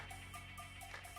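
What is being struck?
Nothing is struck.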